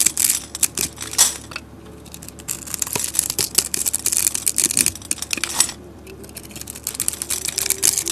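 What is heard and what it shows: A solid white soap bar with a copper-colored coating, pre-scored, has its cubes scraped off with a metal blade. The result is a dense run of crisp, bright scraping and crumbling clicks with very little low end. Short quieter pauses separate the bursts.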